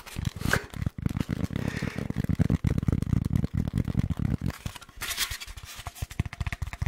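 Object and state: Styrofoam block.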